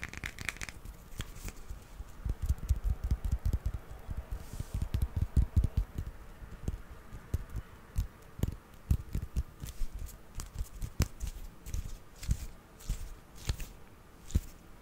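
A small, solid grey plastic hippo figurine, held in the hand, is tapped with fingertips and nails. The result is a rapid, irregular run of short, dull, low-pitched taps with little ring, mixed with light crinkly scratching.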